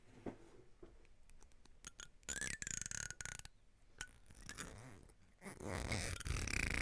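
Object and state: Plastic comb teeth scratched.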